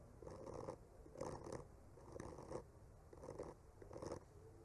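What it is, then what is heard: Painted wooden panel being scraped. A bamboo skewer tip gently scratches and traces the painted lines on a solid wood panel painted with tree trunks. Five slow, soft scratching strokes are heard, each a quiet, grainy rasp centered in the midrange with a faint bright hiss, separated by brief pauses against a low background.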